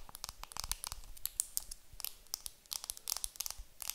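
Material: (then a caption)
Plastic film. A round makeup compact wrapped in clear plastic film is held in the hands while long nails tap and scratch across the film. The result is a rapid, uneven stream of sharp, bright crinkling taps and scratchy rustles that stop almost instantly, over a faint low rumble.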